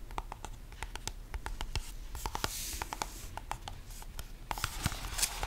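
A small purple cardboard card box is held in both hands while the fingertips tap and scratch its surfaces. Rapid, dry, crisp taps with almost no ring are mixed with brighter, hissy scratching swells, all over a low, steady rumble.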